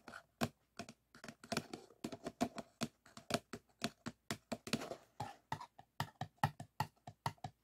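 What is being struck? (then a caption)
Paper cup. Fingertips and short nails tap and scratch the sides of a single empty white paper cup, thin-walled and hollow, set upside down on a wooden table. About thirty-four quick, quiet hits sound as dry, hollow taps with a low body and almost no ring. Brief scratchy, papery rasps come in between them.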